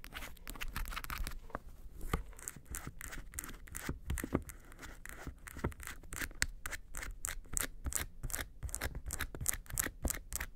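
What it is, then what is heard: Faux-leather makeup case scratched. Long nails scratch the front face of a small, hollow, yellow textured faux-leather makeup suitcase near its handle. A steady run of quick, dry, bright scratching strokes has a soft hollow thud beneath, and the strokes grow faster and more regular toward the end.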